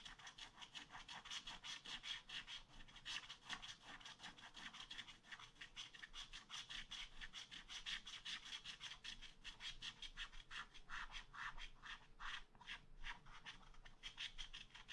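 A wooden stylus scrapes steady strokes across a black wax-coated scratch art paper page in a spiral pad. The result is a dry, bright scratching rasp, repeated in quick, uneven strokes about two to three times per second over a faint low background hum.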